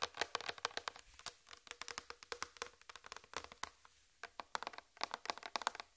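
Long red fingernails tap and scratch the surface of a large flat white plastic tray near the mic. It makes a quick, uneven run of sharp, dry clicks with bright, thin tones, almost no low end and no ringing. Brief scratchy rustles fill the short pauses between the taps.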